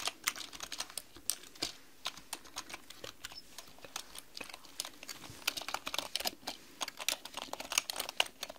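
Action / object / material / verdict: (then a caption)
tap / plastic computer keyboard / plastic / none. Long pink nails and fingertips type rapidly on a black mechanical computer keyboard with plastic keys. Quick, bright, clicky taps rise and fall in uneven bursts with almost no ring after each one, over a quiet background.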